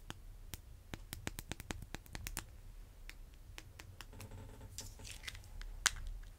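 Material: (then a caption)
Vinyl. Fingernails quickly tap the top of the end of a red vinyl-coated hand dumbbell, making a rapid series of sharp, dry, bright clicks with almost no ring. A low background rumble runs underneath, and a softer, scratchy rustle follows toward the end, broken by one louder click.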